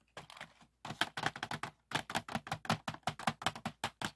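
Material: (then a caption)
Plastic. Fingertips tap the lid and compartments of a medium clear plastic organizer box with many compartments filled with pearl and acrylic beads, lying on a wooden table. A quick, uneven run of sharp clicky taps, with two brief pauses, makes the beads rattle inside. Each tap is a short, bright plastic click that dies away almost at once.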